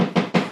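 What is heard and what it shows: Short taps on a solid wooden box holding a lightsaber. Three distinct knocks are heard, each a hollow, woody thud centered around 190 Hz that fades within about a tenth of a second. The box sounds solid.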